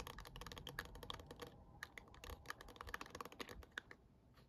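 Long acrylic nails and fingertips tap and scratch a small hollow black plastic dome star projector night light with star cutouts. The result is a quiet, rapid run of dry, clicky taps with a hollow ring near 1.7 kHz, bright edges and almost no decay, mixed with faint scratching between them.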